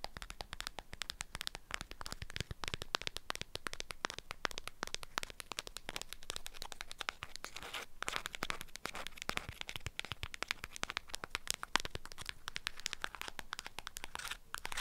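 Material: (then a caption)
Waxed fabric. Long acrylic nails tap and scratch an orange-print beeswax wrap folded around a small object and held in the hand. The result is a dense, continuous stream of quick, crisp crinkles and scratches on the waxed fabric, with bright papery detail over a soft, close, low background.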